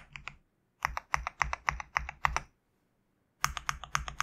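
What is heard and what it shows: Fingertips press and tap the white PBT plastic keycaps of a GMK67 65% mechanical keyboard with a black case and a knob. Crisp, clacky keystrokes arrive in quick, uneven runs: a brief flurry, then a steady stretch of distinct taps, a pause of about a second, and another run. Each stroke has a dull low thock under a bright click and dies away almost at once.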